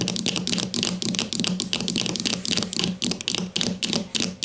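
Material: Plastic.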